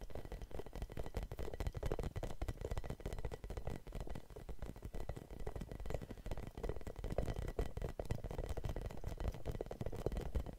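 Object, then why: Rubber spiky massage ball. Long nails scratch and tap a red hollow rubber spiky massage ball, making a dense, continuous stream of soft, dull scratches and quick taps. The sound is low and muffled throughout, with very little brightness and no lingering ring.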